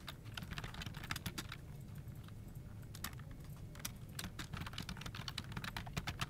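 Both hands type continuously on a full-size dark plastic office keyboard with a hollow body resting on a desk, fingertips with short nails pressing and tapping the keys. Quick, bright plastic clicks patter in a steady stream over a constant low hum.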